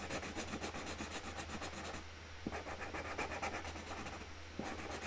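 A pink marker rubs across a flat white cardboard box lid as a hand colours in the top flower, giving a steady rhythm of dry, scratchy strokes with brief pauses and a low hum underneath. Two soft taps stand out where the nib lifts or touches down.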